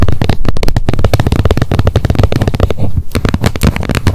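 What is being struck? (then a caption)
Plastic wet wipes pack lid. Long nails rapidly tap the edge and face of the plastic lid on an upright wet wipes pack. The result is a quick, continuous stream of short, dull clicks with a heavy low thump and almost no high or bright content.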